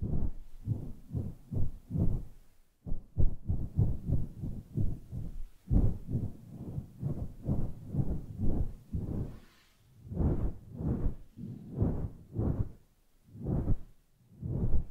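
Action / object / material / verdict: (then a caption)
scrape / synthetic fur microphone windscreen / synthetic fur / none. Long polished nails and fingertips rub, stroke and scratch a grey, fluffy synthetic-fur windscreen that sits over a microphone, a soft and hollow cover. The result is a steady run of deep, muffled swishing bursts that sound dull and thumping, almost like a heartbeat. The strokes come in quick clusters, then slow to broader sweeps with short pauses between them.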